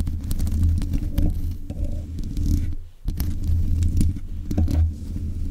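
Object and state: Metal microphone grille being scraped.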